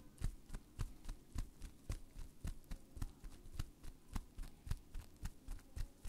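Hands wrapped in clear plastic bubble wrap are held near the mic while the fingers squeeze and pop the bubbles. About twenty short, burst-like pops come in a steady rhythm, each a dull low thump with a brief bright click on top that dies away almost at once. Faint rustling of the plastic fills the gaps between pops.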